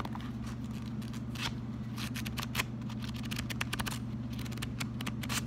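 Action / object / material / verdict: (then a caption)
scrape / paper sticky note pad / paper / none. Fingertips bend, riffle and scratch the pages and edges of a small pink paper sticky note pad, a solid stack. Quick, bright papery flicks and scratchy ticks come in irregular bursts over a steady low hum.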